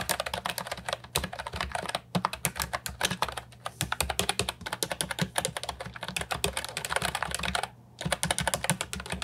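Fingertips type steadily on a compact hollow plastic keyboard with round typewriter-style retro keycaps. Dense, bright clicky keystrokes with short, sharp decays come in quick runs, pausing briefly near two seconds and again just before eight seconds. A low hum sits underneath throughout.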